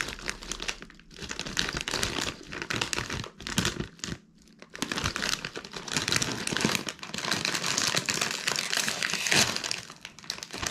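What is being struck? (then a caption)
Plastic foil snack bag with crisp snacks. A medium red-and-yellow printed plastic foil Bugles chip bag, partly full of corn snacks, is held in both hands and crinkled and shaken over a paper towel. Dense, bright crinkling and rustling comes in bursts with brief quiet gaps, and snacks shift inside the bag.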